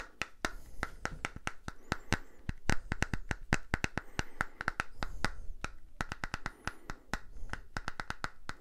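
Fingernails tap and scratch the surface of a small purple silicone facial cleansing brush pad cupped in both hands. Quick, sharp clicky taps come in a steady, uneven stream, each with a soft low thump and almost no ring. Light scratchy rustling fills the gaps between them.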